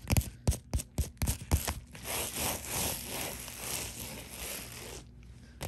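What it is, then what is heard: Plastic bubble mailer. Nails and fingertips scratch and rub the bubbled surface of a white padded poly mailer bearing a Priority Mail label. A run of quick, sharp scratching strokes in the first two seconds gives way to a steady, crinkly rubbing hiss. The hiss fades into near silence at the end.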